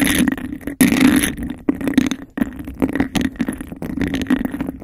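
Fingernails scratch and tap fast on a clear textured glass cup held over the microphone. The scrapes have a hollow, resonant tone centred near 266 Hz with a bright rasp on top. Short gaps of near-silence break the dense stream of scratching.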